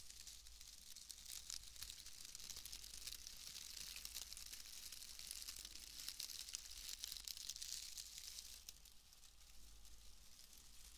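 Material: Wood fibre.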